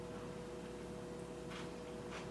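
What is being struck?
Nothing is struck.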